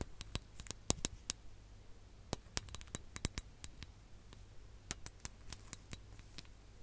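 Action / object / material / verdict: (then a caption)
tap / glass hourglass / glass / none. Long nails tap a ribbed glass hourglass filled with orange sand, held close to the mic. A quiet, uneven series of sharp, bright clicks and clinks dies away almost instantly over a faint low hum.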